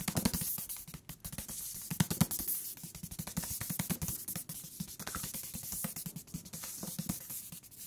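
Fingertips tap a thick paper book on its cover and along its edges, with the top and bottom edges sounding different despite the same thickness and material. Rapid, dull, woody taps with a low thump around 170 Hz and very short ring come in a steady, fast pattern, plus a faint high hiss.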